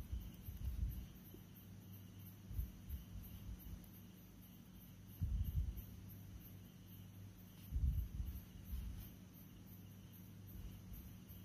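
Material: Nothing is struck.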